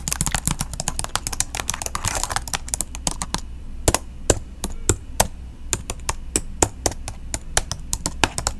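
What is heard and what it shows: Long pink nails type and tap with one hand on the plastic keys of a silver laptop held flat beside the microphone. A dense flurry of quick, crisp clicks in the first few seconds gives way to sparser, sharper taps with short gaps between them. A steady low hum runs underneath throughout.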